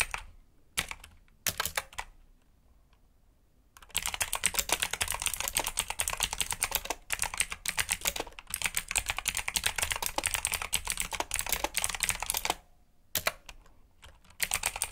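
Fingertips press the keys of a black mechanical keyboard with plastic keycaps in a typing pattern. A few scattered bright, short clicks come first, then a steady run of fast, crisp clacks from about four seconds to twelve and a half. After a brief pause, the typing starts again.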